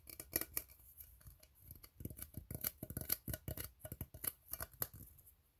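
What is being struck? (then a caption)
Ribbed steel tin can. Fingernails scratch quickly along the ribs of an empty, hollow, ribbed steel tin can. The result is a rapid series of dry, raspy strokes with bright, high-pitched metallic ticks and almost no ringing after each one.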